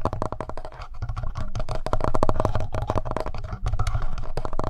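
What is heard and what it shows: Fingertips tap quickly on the front panel and buttons of a hollow black plastic Tascam handheld audio recorder. The result is a rapid, steady stream of short, dull, hollow thuds with a low body and almost no bright content.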